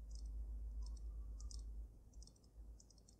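Fingernails tap on the sides and top of the glass dome of a water-filled dragon snow globe. Short clusters of quick, light, bright clicks repeat at a steady pace over a constant low rumble.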